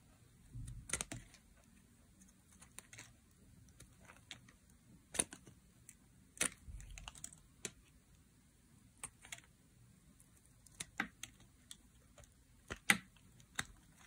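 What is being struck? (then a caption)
Bar soap cut with a metal blade. A partly carved, solid bar of dry blue soap is held in the hand while slices are cut off it with a metal blade. Each cut gives a short, crisp, bright click or snap, scattered unevenly across the clip over a quiet background, with a few soft low thumps early on.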